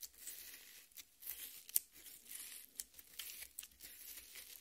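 Long nails scratch and dig into the juicy red flesh of a half watermelon. The sound is a quiet, bright, crackling, tearing scrape with a few sharper crunches standing out along the way.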